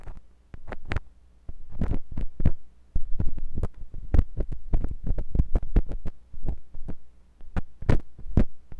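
A metal drill-bit tip on a wooden handle scratches inside the ear canal of the white silicone ear of a binaural microphone. Many short, sharp scraping clicks land in irregular clusters over a low, steady hum, with brief pauses between groups.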